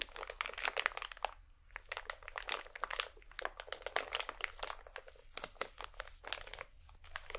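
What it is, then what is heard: Crinkly plastic packet. A small iridescent plastic packet is held between both hands and squeezed and crinkled with the fingertips and nails. It gives a dense run of sharp, bright crackles and crunches with brief quieter gaps, and the quick snaps die away instantly with almost no low end.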